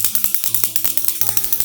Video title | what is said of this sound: Testing Viral Beauty Products! - Sephora Haul | you're supposed to shake this pretty violently before you spray it. So you can hear the ball in it